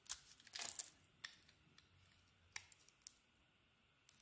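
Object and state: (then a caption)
Soap bar being carved. A hand-sized solid soap bar with a white core and a glossy purple heart-patterned surface is held in the palm and shaved with a metal utility blade. Quiet, bright scraping and carving strokes come in short bursts, with a longer shaving pass near the start and sharp little clicks scattered between quiet pauses.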